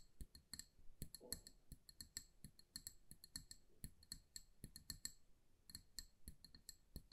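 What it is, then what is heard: Glass candle jar tapped with nails. Long nails tap quickly and irregularly on the glass sides of a small amber glass candle jar that has a paper label and is filled with wax. Each tap is a quiet, sharp glassy click with a bright, high ring that dies away almost at once, over a soft low thud. The clicks come in clusters and brief flurries throughout.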